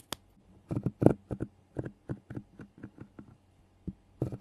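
A small, solid piece of natural cork, held between fingers with long painted nails, is rubbed and scratched against the metal mesh grille of a handheld recorder. It makes a series of short, dry scratching and scraping bursts with uneven gaps between them. The sound is close and low-heavy, with little bright content.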